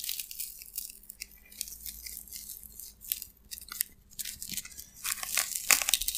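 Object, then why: Expanded polystyrene foam slab. A white, elongated, solid slab of expanded polystyrene foam with a rough broken edge is held in both hands and pressed and cracked with the fingers. It gives off dry, bright crackling and squeaky creaking in irregular bursts, with sharper snaps near the end, all concentrated in the high range over a faint low hum.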